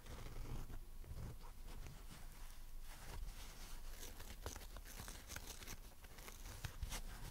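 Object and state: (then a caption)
Dry foam sponge scratched and tapped with fingernails. Long dark-red nails on several fingers tap and scratch a dry, porous, pink strawberry-shaped foam sponge with a green leaf top. A continuous, quiet, crackly scratching is heard over a low rumble, broken by short, bright, dry clicks that die away almost at once.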